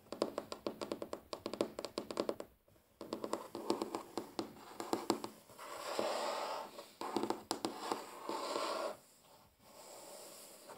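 A large solid wooden tabletop is tapped, drummed and scratched with the short-to-medium natural fingernails and fingertips of both hands. Quick, dry clicking taps run through the first half, with short pauses between runs. Longer stretches of steady, hissing scratching follow, broken by a few more taps.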